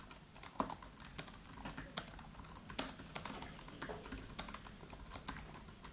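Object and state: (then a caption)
Laptop keyboard with plastic keys. Fingertips of both hands type rapid taps on the black plastic keys of a MacBook Pro laptop with an aluminium body. The result is a quick, uneven stream of soft, bright clicks with short decays over a faint low background hum.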